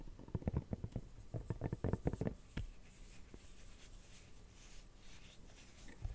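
Fingernails scratch and tap the inside and rim of an empty red silicone phone case. A quick run of dull, muffled, low-heavy taps comes first, then fades into soft, quieter scratching for the rest of the clip.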